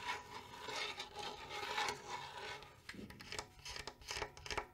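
Long nails scratch and tap the wooden side of a small hollow-shelled wooden bongo drum with a metal rim and lugs. A dry, bright rasping scrape with a faint ringing tone near 840 Hz runs for about three seconds. Quick, sharp, short taps follow.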